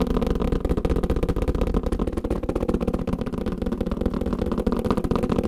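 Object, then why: Kalimba carrying case. Fingertips tap quickly and continuously on a kalimba carrying case. The taps are short, dull and muffled, sitting in the low and low-mid range with almost no ring, in a fast, slightly uneven rhythm of about four per second. The steady patter fills the whole clip.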